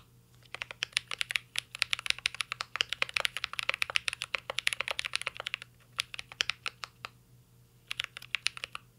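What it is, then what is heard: Mechanical keyboard typing. Fingertips of both hands type on a full-size CYBERBOARD R3 mechanical keyboard with an aluminum case, plastic keycaps and Holy Panda switches. It makes a fast, steady run of sharp, bright clicks with very short decay, and the typing pauses briefly near the end before resuming over a faint low hum.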